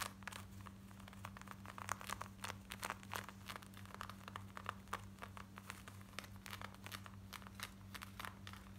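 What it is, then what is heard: Denim jeans being scratched. Long nails scratch fast across worn black denim jeans, working over the waistband, the back pocket and the front. The result is a dense run of short, rough, bright scratching strokes that vary in loudness. A steady low hum sits underneath throughout.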